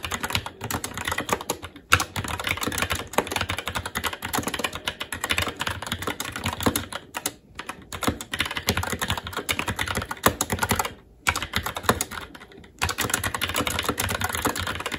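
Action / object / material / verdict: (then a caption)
tap / mechanical keyboard with plastic keycaps on a metal plate / plastic / none. Continuous fast typing with both hands' fingertips on a SteelSeries Apex 7 TKL mechanical keyboard with plastic keycaps on a metal top plate and Red linear switches. Dense streams of quick, bright plastic clacks with very short decay run almost nonstop, broken only by a few brief pauses.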